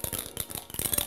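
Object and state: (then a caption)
Glass marble rattling inside a soda bottle. A soda bottle with a glass marble inside is shaken, and the little ball clinks and rattles against the bottle in a quick run of light, bright clicks. The rattling marble makes the soda fizz more.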